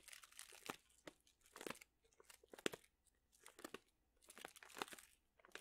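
A plastic pouch full of dried chili peppers is squeezed with both hands, so the chilies crunch inside. Bursts of bright, dry crinkling and crackling rise and fall in uneven waves, with sharp snaps that die away at once.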